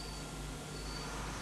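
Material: Nothing is struck.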